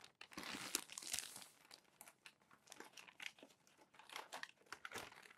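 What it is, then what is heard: Crumpled glossy paper pages. Fingers lift and turn the wrinkled pages of a crumpled glossy paper magazine stack, making quiet, bright crinkling and rustling. A dense stretch of crackle in the first second and a half gives way to a string of short, separate crinkles and paper snaps with almost no low end.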